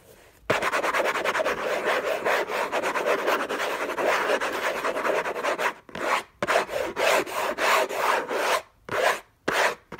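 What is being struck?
Cardboard box.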